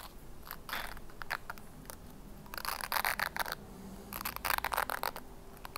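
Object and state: Plastic hairbrush.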